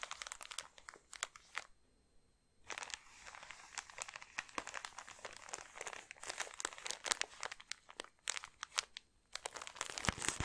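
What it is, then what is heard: Plastic-packaged socks. Long nails scratch and tap a thin clear plastic bag holding socks, held up, and its label. The result is a run of sharp, bright crinkles and clicks, broken by a short quiet gap near the start and another near the end.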